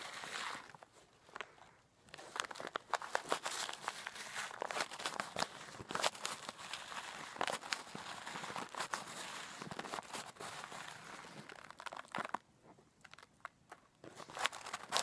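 A clear plastic zip bag of coarse pink-white rock bath salt crystals is held up, shaken and squeezed by hand and fingernails. Dense, bright crinkling of the plastic mixes with sharp crunches and rattles of the crystals inside, with brief quieter pauses near the start and toward the end.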